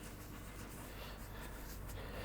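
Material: Nothing is struck.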